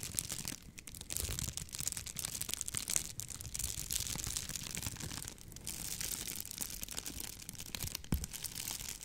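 A sheet of clear plastic bubble wrap held up in both hands is squeezed and crinkled with fingers and long nails. The result is a steady, dense stream of bright crinkling and crackling, with a few sharper snaps standing out along the way.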